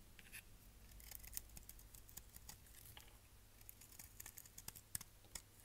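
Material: Soap.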